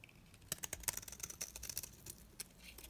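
A metal blade shaves the face of a solid, dry, round green soap bar held in hand, cutting it into layered flakes. A quick series of faint, crisp, bright scraping clicks sounds over a quiet background, each dying out almost instantly.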